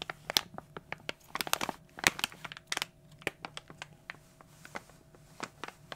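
An opened, glossy plastic foil toy blind bag is crushed and crinkled in the hands. It makes a rapid, irregular run of sharp, bright crackles and crunches over a faint steady hum.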